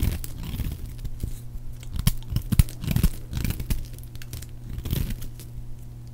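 A metal blade carves a solid, palm-sized bar of dry orange soap into flakes and chunks, scraping and cutting through it. Dry, crisp crunches and short tearing scrapes come at an uneven pace, with a few sharper cracks standing out, over a steady low hum.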